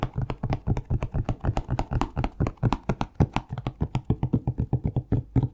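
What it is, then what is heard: Plastic shower gel bottle. Fingertips tap a plastic Palmolive shower gel bottle in a quick, steady run. Each tap is a dull, hollow low knock with a brief bright click at its start. Each one dies away almost at once.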